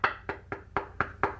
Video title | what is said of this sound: How to drill into tiles DIY tutorial | As we move around, nice and solid over here.